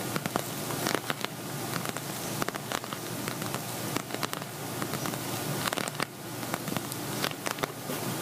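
Medium-sized, flat silver glitter-coated vinyl cosmetic bag with a pink zipper, hollow and appearing empty, tapped and scratched with medium-length natural fingernails and fingertips. Quick, crisp taps rise over a steady bright, crackly scratching texture. Each tap is short and dry with almost no ring.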